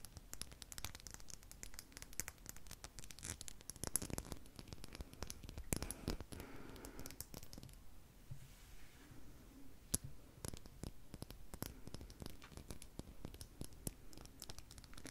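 A small, solid, clear crystal seahorse figurine is held in the fingers and tapped and scratched with long pink nails. The result is a steady, quiet stream of dry scratching and crinkly rasps, broken by sharp, bright clicks with very short, high glassy pings. The texture thins briefly about halfway through before the dense tapping picks up again.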